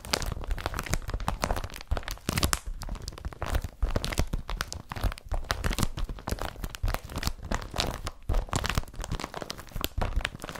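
Fingertips scratch and tap the surface of a blue woven polypropylene IKEA BRATTBY carrier bag laid flat. The result is a steady stream of dry, crinkly rustling and quick scratchy bursts with soft, dull taps that stop almost at once.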